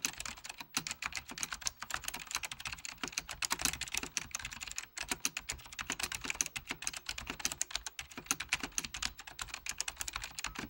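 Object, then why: Plastic computer keyboard with mechanical switches. Fingertips of both hands type steadily on a full-size beige plastic Apple Extended Keyboard II with mechanical key switches. The result is a dense, continuous run of sharp, bright clicks that decay almost instantly, with very little low end and brief pauses between bursts.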